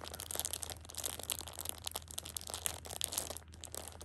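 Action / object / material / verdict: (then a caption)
scrape / pocket tissue pack in thin plastic wrap / plastic film / none. A hand holds a plastic-wrapped six-pack of pocket tissues at the edge and squeezes it, crinkling the plastic wrap. The result is a steady stream of dense, bright crackles and crinkles over a faint low hum.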